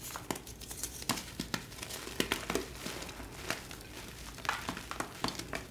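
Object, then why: Gym chalk blocks. Both hands crush, squeeze and rub solid pastel glittered gym chalk blocks (magnesium carbonate) in a tray, breaking them into crumbs and powder. Dry, crunchy crackles and sharp, bright snaps come through at an irregular pace over a soft, grainy rubbing hiss.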